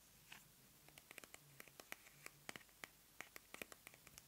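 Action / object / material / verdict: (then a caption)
tap / plastic squeeze tube of face cream / plastic / none. Long manicured nails tap and scratch along a small white plastic squeeze tube of face cream held in both hands. About twenty quiet, sharp clicks land in an irregular rhythm, each bright and dry with a focus around 2.4 kHz and almost no ring. Faint scratchy texture sits between them over a low hiss.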